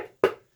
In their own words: This is wood. It's like knocking on a door. It's solid all the way around.